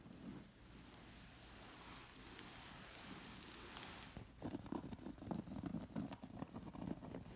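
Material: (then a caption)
Woven fabric. Long nails scratch across the textured fabric of a woven zigzag bolster pillow. For about four seconds there is a soft, steady rustling hiss. It then gives way to louder, choppy bursts of scratching that continue to the end.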